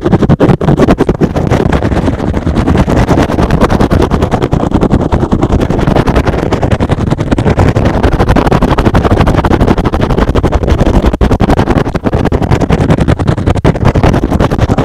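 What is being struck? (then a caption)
Synthetic foam sponge. A rectangular, soft, porous, hand-sized green and blue foam sponge is held in one hand and aggressively scratched with fingertips and short nails. The result is a fast, dense, continuous scratching with a heavy low-end rumble that stays loud and steady throughout, with only brief dips.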